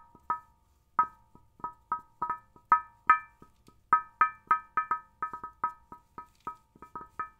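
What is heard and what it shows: Long fingernails tap the curved, hard glass screen of a large old CRT television's picture tube in an uneven series of sharp taps. Each tap gives a short, bright glassy ping centred around 1.3 kHz that dies away almost at once.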